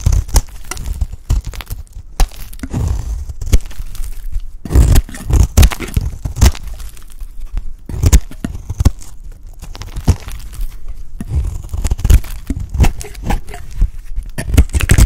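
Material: Soap.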